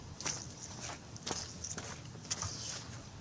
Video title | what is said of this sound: are there any trolls under this bridge?- jon swift adventures | my shoes are all wet. Can you hear the sloshing?